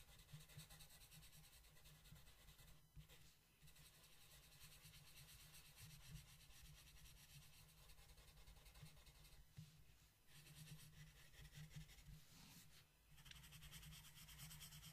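A blue wooden colored pencil rubs across a flat paper coloring book page in repeated shading strokes. The result is a steady, soft, scratchy rubbing with a low hum underneath. It dips briefly at a few moments between strokes.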